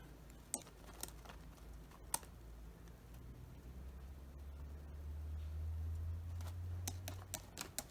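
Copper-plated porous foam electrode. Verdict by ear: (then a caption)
Well coated. Porous electrode foam, copper-plated for 21 hours, is tapped in a series of sharp, short, metallic clicks over a low steady hum. The metallic sound shows the copper coating took well.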